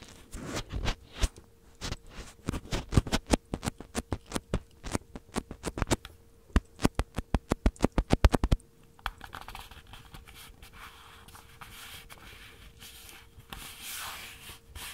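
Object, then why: Plastic handheld audio recorder. Fingertips tap rapidly on the body of a small black plastic Tascam handheld recorder held in one hand, with the recorder itself serving as the microphone. The result is a quick run of dry, short, bass-heavy thuds and scratchy patters. After about 8.5 seconds the tapping stops, leaving soft rustling, light scraping and a faint steady hum.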